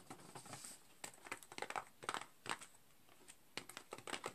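A full rectangular cardboard candy cane box with a clear plastic window over rows of candy canes, lying flat on a green cloth, is scratched and tapped by fingertips and nails on the plastic window and the edges. Quiet, dry, crinkly taps and scratches come in uneven bursts, each dying away almost instantly, with bright plastic clicks and rustling above a faint background.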